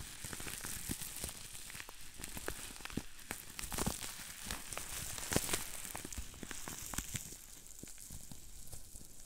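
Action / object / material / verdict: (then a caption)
tap / plastic bubble wrap sheet / plastic / none. A large sheet of green plastic bubble wrap is held up while fingertips squeeze it, popping the small bubbles. Short, sharp snaps crackle irregularly over a steady crinkling hiss, with a bright, papery top end and a thumpy low body.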